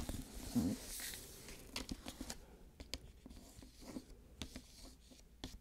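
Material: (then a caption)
Paper. Long fingernails scratch and tap the glossy paper dust jacket of a solid hardcover copy of "Deadly Cross" held upright. Soft scratching and crinkling mix with a series of sharp, short taps.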